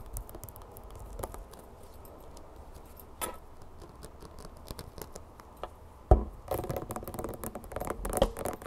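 Long painted nails tap and scratch the label and plastic body of a plastic bear bottle of clover honey, mostly full and held in both hands. Soft, dull taps and faint scratching patter irregularly over a low rumble. A sharp, louder tap lands near the six-second mark, followed by denser, busier scratching to the end.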